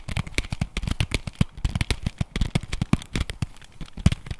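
Fingernails rapidly tap and scratch across the face and edges of a flat printed cardboard chocolate bar box held in the hands. The result is a quick, irregular stream of short, dry clicks and crackles with a dull, low thud under each tap and a bright papery edge on top.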